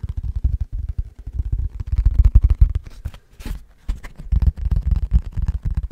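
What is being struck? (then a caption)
Plastic food container. An empty, clear rectangular plastic food container is held up in both hands and tapped with the fingertips. Rapid, irregular, dull low taps come in quick bursts with a brief pause in the middle. Each tap dies away almost at once.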